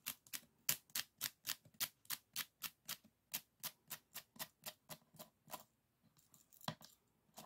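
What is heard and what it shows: Fingernails flick and scratch across the rib ends of a closed bamboo folding fan with painted paper and a thick stack of bamboo ribs. About 21 short, dry, bright ticks come in a fairly steady rhythm, then fade into a softer, scattered patch of scratching near the end. Each click dies away almost instantly.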